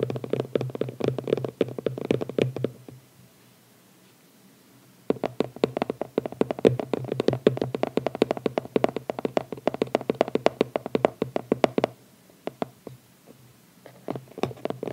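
Both hands tap and scratch their nails across the lid of a small, closed red cardboard phone-case box with a ribbon, lying on a towel. Quick, dry clicking taps come in dense bursts, with a low steady hum beneath them. The bursts break into near silence around the fourth second and again near the end, where a few scattered taps remain.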